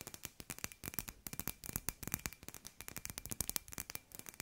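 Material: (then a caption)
Glass. Long nails tap quickly on a hand-sized hollow glass sphere with fairy lights inside. About 28 sharp, bright clicks follow each other in a rapid, uneven run. Each tap dies away almost instantly with no lingering ring.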